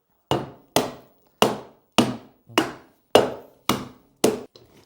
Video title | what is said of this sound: 6 MOIS DE RÉNOVATION DANS UNE MAISON INCENDIÉE 🔥 - TRAVAUX & TRANSFORMATION INCROYABLE ✨ | je crois que c'était du contreplaqué qui était collé dessus. Ouais. Tellement ça sonne creux.